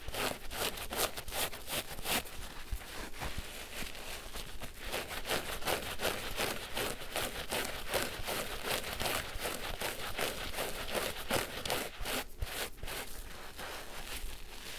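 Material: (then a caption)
Foam. A large, pink, porous synthetic foam sponge, wet and lathered with soap, is held over a basin of soapy water and scratched with the fingertips. The result is a steady run of wet, crackling, crinkly scratching strokes with bright fizzing lather and a soft low rumble underneath.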